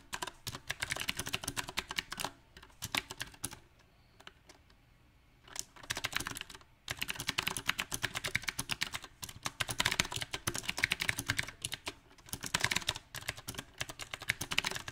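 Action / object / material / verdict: tap / mechanical keyboard with round plastic keycaps on a metal frame / plastic / none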